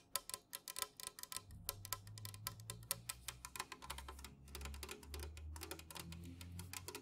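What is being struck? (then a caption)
Aluminum drink can. An unopened, full, tall Jumex guava nectar aluminum can lies on its side on a fuzzy mat and is tapped fast with long nails and fingertips. The result is a rapid run of short, bright clicks that stop almost at once, over a low, steady hum.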